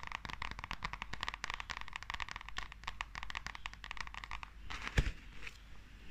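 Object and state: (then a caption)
Glossy paperback manga book. Long nails tap and scratch the cover and spine of a small, solid, glossy paperback manga book as it is tilted in the hands. A rapid run of crisp, dense clicks gives way to softer scratching near the end, broken by one sharper tap.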